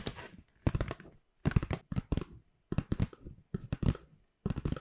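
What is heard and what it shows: A medium-size, hollow white paper shopping bag with rope handles is scratched and rubbed with long pink nails and fingertips, crinkling the paper. It comes in six bursts of quick, dry scratching and rustling separated by short silences. The sound is soft and close, mostly low and dull with little brightness.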